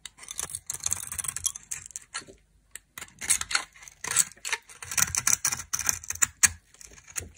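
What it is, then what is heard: Dry soap bar being scraped. A knife scrapes the red outer layer off a dry, solid soap bar, exposing its white core. The result is a fast run of dry, crisp scraping and crackling strokes, bright and hissy with almost no low end. Brief pauses fall between the bursts, including a short silence near the three-second mark.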